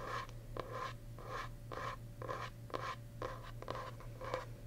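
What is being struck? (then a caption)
Paper-covered hardcover journal board. Fingernails and fingertips scratch the smooth green paper-covered board back of a solid, medium-sized hardcover journal held upright. About nine short, dry scratching strokes come in a loose rhythm, each a brief papery rasp with a bright edge. A steady low hum runs underneath.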